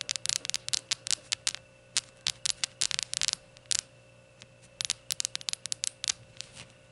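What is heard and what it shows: Long gold nails tap on a small glazed ceramic rainbow shot glass standing upright on a towel. About 26 quick, bright, clicky taps come in irregular bursts with a short pause in the middle, each dying away almost instantly over a faint steady hum.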